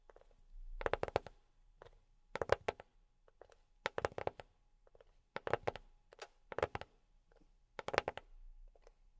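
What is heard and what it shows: A box is tapped with silicone rubber pads on the fingertips, producing soft, dull taps in quick clustered bursts separated by short pauses. Each tap is muffled and mid-pitched and dies away almost instantly, with only a faint high click on top.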